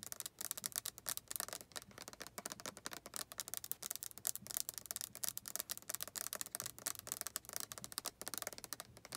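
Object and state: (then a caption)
Plastic lotion bottle. Long nails tap rapidly on a white plastic body lotion bottle that appears full, striking both the plastic and its label. The result is a quiet, continuous stream of sharp, bright clicks with almost no low end, each dying away instantly.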